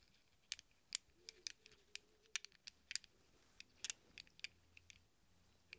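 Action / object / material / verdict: shake / small chrome steel sockets in a hand / chrome steel / none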